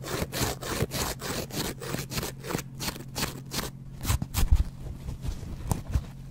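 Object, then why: Foam kitchen sponge with abrasive scouring pad. A small rectangular yellow polyurethane foam kitchen sponge with a green abrasive scouring layer, held close to the microphone, is scraped and scratched with a double-edge metal razor blade. Quick, rhythmic rasping strokes give a bright, sawing scrape that turns into sparser, more irregular scratches with a few louder bursts.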